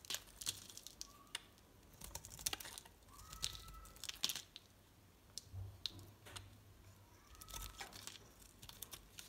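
Flakes are sliced off a solid red rectangular bar of soap with a snap-off utility knife blade. Quiet, crisp, bright scraping and crinkling cuts come in short bursts with a faint low hum underneath, each slice dying away almost instantly.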